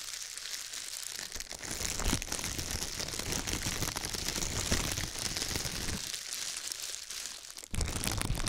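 A pair of thin, clear, disposable plastic gloves, one held loosely in each hand beside the microphone, is crumpled and shaken by the fingertips. The result is a steady, dense, bright crinkling with some low rustle underneath. It dips briefly near the end before resuming louder.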